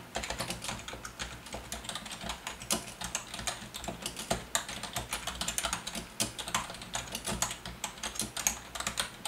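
Fast typing with the fingertips of both hands on a full-size black plastic Logitech wave-style membrane keyboard with a hollow housing. Dense, rapid, bright clicks and soft clacks overlap in a steady stream with very short decays. A faint, low, steady background sits underneath.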